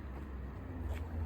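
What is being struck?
Nothing is struck.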